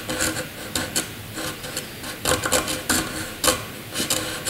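A graphite pencil scratches jagged zigzag lines across a sheet of white paper. About eleven short, dry, rasping strokes come in quick bursts with a bright, airy hiss and very little low end.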